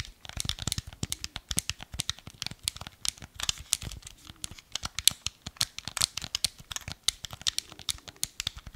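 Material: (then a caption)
Hard plastic. Fingertips and nails tap and scratch a small, hollow, black hard-plastic Wii remote held in both hands. The result is a steady run of dozens of quick, dry, bright clicks and scratchy crinkling, with very little low end. Each tap dies away almost instantly.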